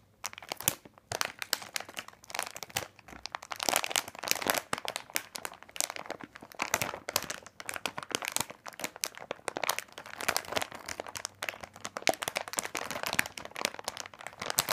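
A large, full, printed plastic bag of candy corn lies flat while fingertips squeeze and rub the plastic. Dense, bright crinkling and crackling runs throughout in rapid, overlapping bursts, with little low end.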